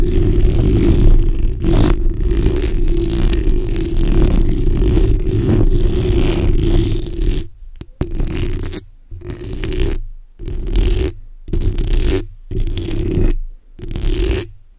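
The backs of long nails from both hands scratch a black hollow steel mesh microphone grille, making a dense, low, rumbling scrape. The scratching runs continuously for about seven seconds, then breaks into a series of short bursts separated by brief silences.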